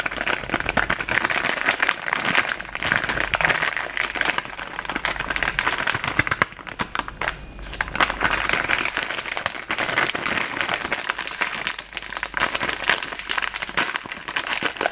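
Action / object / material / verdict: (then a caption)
scrape / sealed plastic foil noodle packet / plastic foil / none. A sealed Samyang buldak ramen packet, a flexible plastic foil bag with a solid noodle block inside, is held in both hands while the fingertips squeeze and rub it. This makes dense, continuous, bright crinkling and crackling, with a brief quieter stretch midway. At the end, the corner is worked open with fingers and a small tool.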